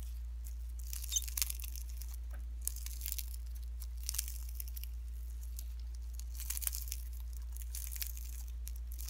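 Pink slime mixed with shredded cellophane is squeezed and pinched with fingertips and nails, giving bright, crackly crinkling and tearing sounds in uneven bursts over a steady low hum.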